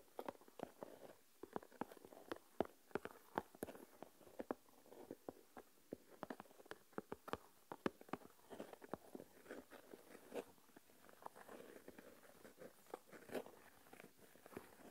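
Fingertips with long nails dig into and rub coarse white salt crystals in an open, small plastic tub full of salt. The result is a quiet, steady granular crunching and rustling, dotted with many sharp, brief crackles and clicks with a bright edge.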